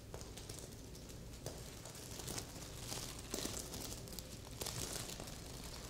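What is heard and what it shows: Long red and pink nails scratch across a medium red reversible-sequin heart pillow, stuffed and soft. The result is a steady, bright, crinkly scratching with small sharp clicks and swells as the sequins flip, over a faint low rumble.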